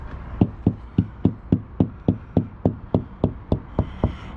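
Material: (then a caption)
Composite panel. Fourteen steady, dull knocks at about three to four per second as a hand taps higher up on a motorhome's rear wall panel. Each knock is short and low-pitched, with almost no ring. The spot sounds nice and solid, so it is chosen for mounting the top of a bike rack.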